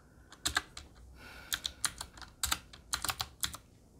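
Fingertips of both hands type on a Qwerkywriter typewriter-style mechanical keyboard with a black metal body and round plastic keycaps. About seventeen crisp, bright key taps land in irregular bursts, each clack dying away almost instantly. Between them there is only a soft hiss.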